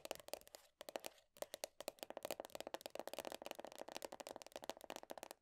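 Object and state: Plastic body butter tub lid.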